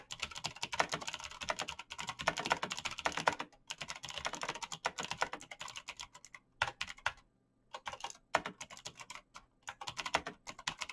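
Fingertips type rapidly on a black plastic mechanical keyboard with clicky switches, producing dense, bright key tapping with sharp clicks that die away almost instantly. The bursts of typing come with short pauses, including a brief silence around 7 to 8 seconds.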